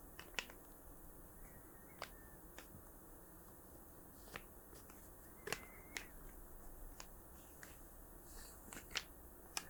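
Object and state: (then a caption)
Hollow plastic markers. Hollow plastic art markers are softly tapped, giving sparse, quiet, bright clicks that stop almost instantly over a steady low hiss. The hollow-sounding tone comes from the type of plastic and the markers being hollow.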